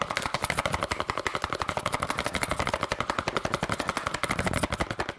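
A small yellow and red cardboard candy box is tapped very fast with long nails, giving a rapid stream of about 49 short, dry, bright clicks over five seconds. The taps come at an uneven rhythm, each one cutting off almost at once with no ring.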